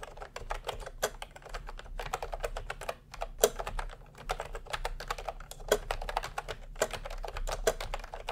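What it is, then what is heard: Plastic round-key keyboard being typed on. Fingertips type continuously on a plastic retro keyboard with round cream and pink keycaps. The result is a dense, steady patter of short, dry clicks that stop almost instantly, with a few louder strokes standing out, over a faint low hum.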